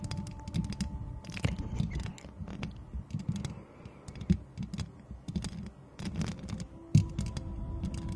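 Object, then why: Metal mesh microphone grille. Long acrylic nails quickly scratch and tap the hollow, perforated metal mesh head of a white microphone with both hands. The result is a dense, low, boomy rustle of scraping and crackling, broken by sharp clicky taps, with a few louder knocks standing out.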